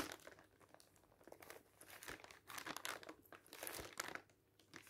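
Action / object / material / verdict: scrape / thin glossy paper leaflet / paper / none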